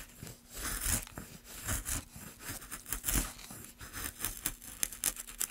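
A small metal gouge held in a gloved hand carves and scrapes across the surface of a solid, light wooden plank. Irregular, crisp scraping strokes with bright, hissy high edges and soft thuds rise and fall in short bursts, over a faint steady low hum.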